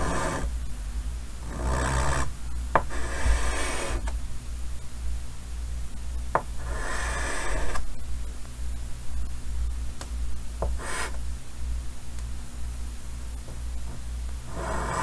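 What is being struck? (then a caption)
Chalk on a painted wooden-framed chalkboard. Fingertips holding white chalk make short strokes on a large, solid painted chalkboard in a green wooden frame, so the chalk scratches and taps the board. Bursts of dry, bright scratching come and go with sharp, brief taps between them, all over a steady low hum.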